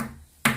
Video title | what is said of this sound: RIVIEW KOMPOR TANAM RINNAI SETELAH PEMAKAIAN 1,5 TAHUN | ini bisa saya ketuk-ketuk ya. Ini bunyinya sengnya